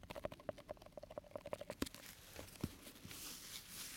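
A small round clear plastic tub with a printed plastic lid, full of green slime, is held in one hand while a black rubber-gloved hand and bare fingertips tap and scratch its lid and sides. A rapid run of quiet, hollow plastic taps with a faint mid-pitched ring comes first, then a couple of sharper knocks. It ends in a soft, bright, hissing scratch.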